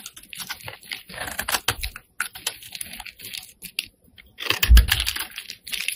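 A flat metal blade scrapes across the face of a solid pink rectangular bar of soap held in the hand. Quick, dry, crackling scrapes come in clustered bursts, with a louder, fuller stretch near the end.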